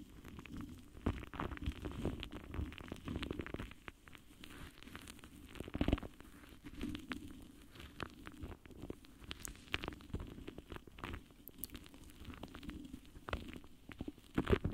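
The foam tip of a pink lip gloss wand, held sideways, brushes against the side of a large, rounded, hollow metal mesh microphone grille. The result is a soft, continuous scratchy rustle with a heavy low rumble. Brief brighter swishes rise out of it now and then.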